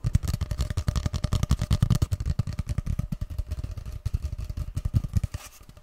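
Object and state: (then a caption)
Cardboard paper tube. Fingertips and short nails tap and rub a long, hollow grey cardboard paper tube, held horizontally and then upright. A rapid, steady run of dozens of short, dull, hollow thumps sits almost entirely in the low range, around 78 Hz, with faint papery scratches between them. The tapping softens and thins out over the last half second.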